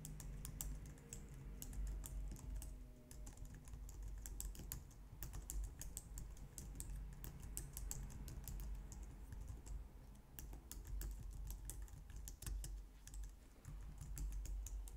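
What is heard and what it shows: Long nails and fingertips type continuously on a compact, low-profile white plastic computer keyboard. Quick, bright key clicks and taps run steadily over a low, constant hum throughout.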